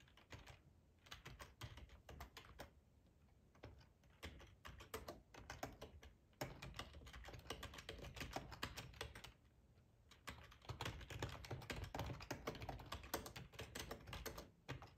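Fingertips of both hands type on a full-size black plastic ergonomic split keyboard resting on a cloth tablecloth. Quick, uneven clicks and soft thuds come in dense bursts with brief lulls. The keystrokes are short and dry, with a low, padded body under bright key clatter.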